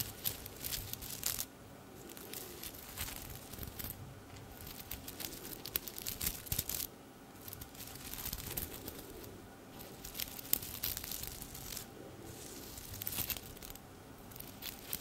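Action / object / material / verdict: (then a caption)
scrape / sequined fabric garment / plastic sequins / none. A silver sequined top hangs on a hanger beside the mic while fingertips and long nails rub and scratch across its sequins. Bursts of bright, crinkly scratching and clicking alternate with brief quieter pauses.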